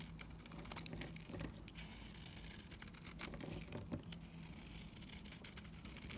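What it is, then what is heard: Dry bar soap shaved with a blade. A dried, solid light green bar of soap is scraped and shaved with a utility knife blade, with flakes falling away. The result is a continuous dry, crumbly scraping full of small crackling ticks over a steady low hum, with a faint bright hiss running through.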